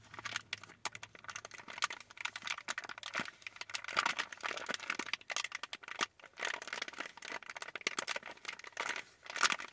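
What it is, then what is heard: Plastic candy bag crinkled. Long nails scratch and squeeze a medium-sized clear printed plastic bag full of wrapped cotton candy taffy. The result is a dense run of quick, bright crinkles and crackles with almost no low end, rising and falling in bursts throughout.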